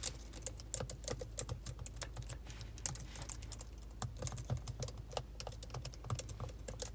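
Both hands with long pointed acrylic nails type steadily on the black plastic keys of a silver laptop, tapping with fingertips and nail tips. Quick, irregular clicks with bright, sharp nail ticks and short dull key thuds sit over a steady low hum, with an added echo effect.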